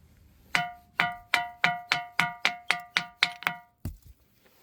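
A granite bell-sounding rock in front of the Maitreya hall at Maneosa temple is struck eleven times in a steady, quick rhythm. Each hit gives a bright, metallic, bell-like ping around 715 Hz with high overtones that fades quickly. A couple of duller, softer knocks follow at the end.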